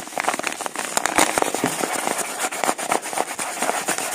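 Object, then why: Kraft-paper padded envelope. Fingertips and thumbs rub, crinkle and flex the surface of a flat, apparently empty, medium-size yellow kraft-paper padded mailer. The result is a dense run of sharp, dry crackles and crinkles that are bright and papery, with almost no low end. Each snap dies away almost instantly.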